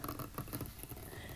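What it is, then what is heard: Wooden table. Light, rapid taps on a small wooden table make a soft, low patter of muffled knocks that die away quickly, with no ringing tone.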